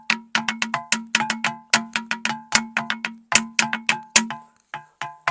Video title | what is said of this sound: సప్త స్వరాలు పలికే రాళ్లు Vlog - ఇక్కడ ఒక హత్య కూడా జరిగిందంట -- హత్య అనవాలు ఉన్నాయి @RJPT_VENKEY | సప్త స్వరాలని రాళ్ల ద్వారా కూడా ఒక సంగీతాన్ని రప్పియొచ్చు